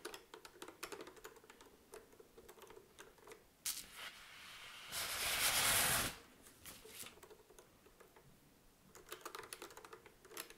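Long acrylic nails and fingertips tap and press the round yellow and red plastic keys and tap the green key panel of a vintage, desk-sized, hollow mechanical adding machine with a dark brown bakelite body. Quick, bright plastic clicks and taps come in dense runs at the start and end. In the middle, a louder, steady, broad rushing noise lasts about a second before the light tapping resumes.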